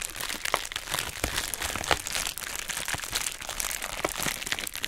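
A hollow pink heart-shaped plastic bubble wrap mailer bag is held in both hands, crinkled and scratched with long nails. The result is a dense, bright crinkling texture with frequent short, sharp cracks and crunches scattered throughout.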